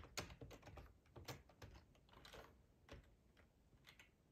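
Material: Plastic.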